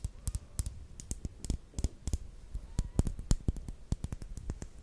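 A small, closed, filled clear pink plastic lip gloss tube with a silver cap is held horizontally and tapped with long nails. About 24 quick, dry clicks come in an uneven, rapid rhythm, each with a soft low thump and a bright tick that dies away almost at once.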